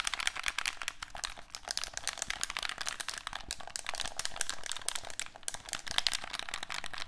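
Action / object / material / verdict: tap / plastic handheld game controller / plastic / none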